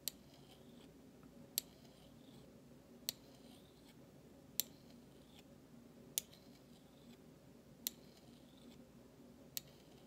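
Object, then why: Stainless steel spoon struck with a metal utensil handle. The bowl of a large, thin, solid stainless steel spoon is scraped with the handle of a flat metal utensil, making seven short, bright metallic scrapes spaced about every one and a half seconds. Each stroke is sharp and very brief, followed by a faint high ringing trail, against a quiet low background hum.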